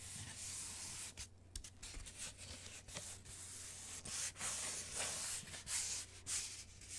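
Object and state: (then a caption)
Cardboard sheet scratched with fingernails. Long manicured nails rub and scratch around the edges of the round cut-out holes in a thin, rigid, flat brown cardboard panel. The result is a bright, dry scratching and sanding sound in uneven strokes, over a faint steady low hum.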